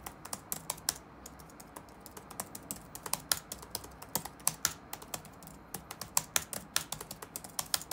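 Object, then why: Plastic laptop keyboard keys. Fingertips of both hands type continuously on the black plastic keycaps of a dark laptop resting on a wooden desk. About 36 quick, bright, clicky keystrokes land in an uneven rhythm, each one dry and short with no ring, over a faint steady background hiss.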